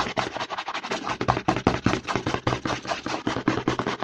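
Fingertips and short nails rapidly scratch and tap the side and front of a hollow white plastic CeraVe lotion bottle held in the hand. A fast, uneven stream of dry, hollow plastic knocks and crackly scratches follows, each sound dying away almost instantly with no ring.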